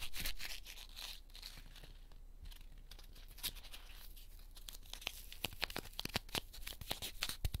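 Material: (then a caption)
Cornstarch foam. A small, light, solid heart-shaped cornstarch foam packing piece from a 100-yen shop is held in the fingertips of both hands and squeezed and crushed, with other pieces lying still on a pink ribbed mat. It gives dry, crunchy crackling and tearing sounds, with sharp, quick snaps growing denser toward the end.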